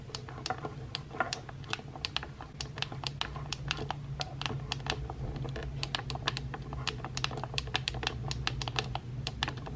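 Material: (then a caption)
Plastic. Painted nails and fingertips tap the buttons of a pink plastic hair straightener repeatedly, making around fifty sharp, bright clicky presses at an uneven pace. Each click is very short and dry with almost no ring, over a steady low hum throughout.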